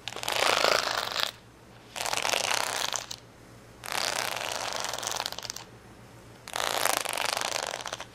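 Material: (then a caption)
Acrylic plastic. Long fingernails scratch across the rows of a flat sheet of red, yellow and green acrylic rhinestone stickers on a clear plastic backing, resting on a towel. Four separate bursts of dense, bright, crackling scratching are heard, each about one to two seconds long, with short quiet gaps between them.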